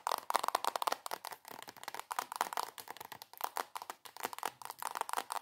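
Long acrylic nails tap and scratch fast and hard on a soft plastic squeeze tube of coconut body cream. The result is a dense run of quick, crisp clicks and crinkly scrapes, centered around 950 Hz with a bright scratchy edge and almost no low end. Each tap cuts off at once with no ring.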